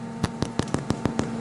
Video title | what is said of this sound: Potato Rolls | Hollow sounding which means they're cooked